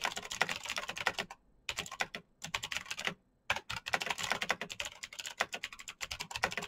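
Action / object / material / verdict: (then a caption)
tap / plastic mechanical keyboard / plastic / none. Both hands type rapidly with their fingertips on the clicky keys of a black plastic mechanical keyboard with backlit keys. The result is a dense run of sharp, bright clacks, with two brief pauses before the fast typing resumes.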